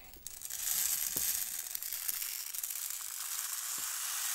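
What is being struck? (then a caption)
Plastic rainmaker tube filled with small beads. A long, hollow, clear plastic rainmaker toy tube with colored plastic tiers, small beads inside and green end caps is held in both hands and tilted and turned. The beads cascade and rattle inside, making a steady, bright, hissing patter that swells in the first half-second and then holds, with a few faint soft ticks underneath.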